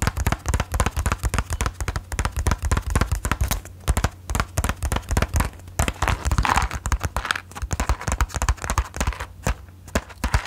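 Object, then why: Small closed cardboard matchbox. Long nails tap rapidly and irregularly on a small, closed cardboard matchbox held close to the mic. The taps are short, dull clicks with a heavy low-end thump and little brightness, dying away almost instantly. A steady low hum sits beneath them throughout.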